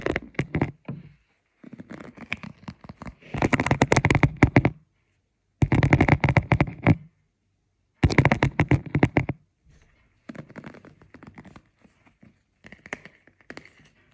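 Fingertips brush and scratch across the plastic bristle tips of a hand-sized black plastic paddle hairbrush with a hollow cushioned head while the brush is held and turned. The sound is bursts of rapid, dry scratchy clicking, some louder and denser than others, separated by brief silences.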